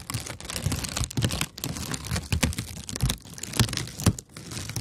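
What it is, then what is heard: Kraft paper honeycomb wrap. A sheet of brown kraft paper honeycomb packing wrap is held flat and scratched and tapped with long nails. Dense, dry crinkling and scratching runs throughout, with bright papery crackle over soft, low thumps from the taps.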